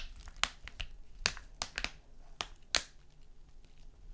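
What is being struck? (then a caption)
Foil cosmetic sachet. A small, flat foil-and-plastic face mask sachet lying on a sequin mat is tapped and scratched with fingernails. Sharp, bright clicks and crinkly scratches sound in an irregular pattern, with quiet rustling between them.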